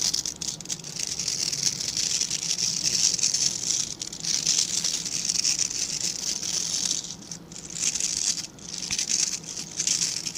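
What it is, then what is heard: Bristle brush being scratched. Fingertips and nails scratch and flick the dense, stiff bristles of a small dark-grey rectangular bristle brush held in both hands. This produces a steady, bright, crackling patter that is concentrated in the high range and has almost no low end. It briefly dips in level around 4, 7.5 and 8.6 seconds.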